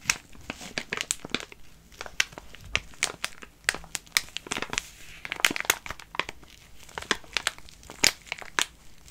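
A full wet wipes packet made of soft plastic film is held in both hands and crinkled and scratched with fingertips and fingernails. Bright, crisp crinkles and sharp scratchy clicks come in irregular bursts over a faint hiss, with almost no low end.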